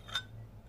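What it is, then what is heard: Light aluminium alloy box that sounds cheap. A lightweight aluminium alloy vape box mod weighing 145 g is tapped once, giving a short, bright clink with a high metallic ring that fades within a fraction of a second over a low background hum. The thin, light sound comes across as cheap, almost like plastic.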